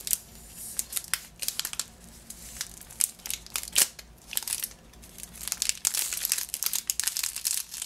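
A lemon-shaped Positano package wrapped in green cellophane is turned in the hands while fingernails scratch and crinkle the wrapping. The result is a stream of bright, crackly crinkles in quick, uneven bursts, each dying away almost instantly, with quieter rustling between them.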